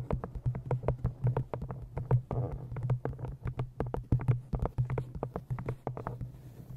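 Fingernails tap and scratch the cover of an old green cloth-bound hardcover book held in front of a microphone. Quick, dull, bass-heavy taps come in a rapid, uneven stream, with brief scratchy rustles between them and a steady low hum underneath.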